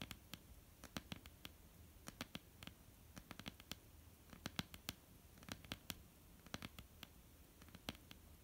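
Long, almond-shaped painted nails of both hands tap on a flat, solid wooden tabletop. About three dozen quick, bright clicks land in an uneven rhythm, each dying away almost instantly over a faint background hiss.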